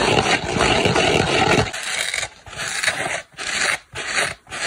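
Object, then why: Polyurethane foam kitchen sponge with scouring pad. Long black nails scratch a dry oval polyurethane foam kitchen sponge, first across its green scouring pad and then over its soft, porous turquoise foam side. The scouring side gives a dense, continuous rasping scrape with some low rumble. The foam side brings lighter, brighter scratching strokes separated by short pauses.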